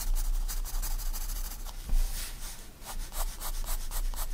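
A 4B pencil rubs heavy shading strokes across a white paper sketchbook page lying flat. The result is a steady, dry, scratchy rubbing with a bright hiss that swells and fades in quick back-and-forth strokes over a low rumble.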